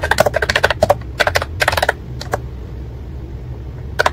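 Fingertips type steadily on a white and pink ACTTO plastic wireless keyboard with round keycaps, producing about 12 short, bright clicks over the first two seconds. A few isolated taps follow, then a quiet gap with a low steady hum, and a final pair of clicks near the end.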